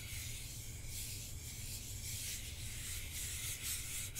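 A hand-sized hollow plastic Nintendo Switch controller, with red and blue Joy-Cons attached to a black grip, is held in one hand while the fingertips and short nails of the other hand rub and scratch across its plastic face. The result is a quiet, steady, continuous scratching with a bright, hissy texture over a low, dull rumble, and no distinct separate hits.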